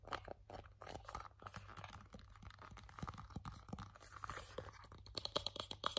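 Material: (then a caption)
Cardboard. A small, hollow, empty white cardboard box lid or tray is gripped, tapped and scratched with fingertips and nails. Dense crunchy scratching mixes with short, dry taps that die away almost at once. Near the end, a few sharper taps ring with bright, clicky tones.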